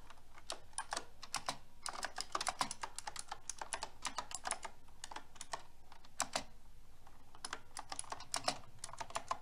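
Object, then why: Mechanical keyboard with plastic keycaps. Continuous typing with fingertips and long red nails on a pink round-keycap mechanical keyboard with plastic keycaps and a silver metal frame. The clip is a steady stream of short, bright clicks and clacks that ring only briefly, with occasional louder bursts between quicker runs of keystrokes.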